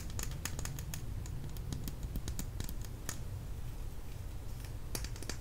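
A small plastic lip gloss tube, filled with product, is held in the fingers and tapped and clicked with long nails. Quick, light, bright clicks come in irregular bursts over a steady low rumble, each tap dying away almost at once.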